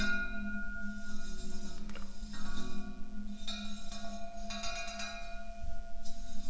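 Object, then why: Painted steel ladder towel radiator. Fingertips and a flat hand tap across the hollow horizontal tubes of a wall-mounted, white-painted steel ladder towel radiator. The taps come as quick, dull knocks with a low, boomy body, over a faint steady metallic ring from the bars.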